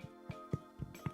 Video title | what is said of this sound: Sourdough. From nothing to something beautiful and delicious. | it's Hollow that's the sound you want to hear